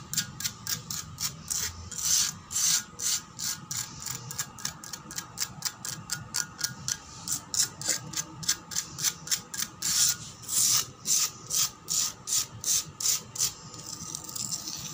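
Long black nails scratch a solid concrete floor near a crack line, with one nail dragged across the surface. About 47 quick, bright scratching strokes come in a fast, steady rhythm. Each stroke is short and rasping, with almost no low end.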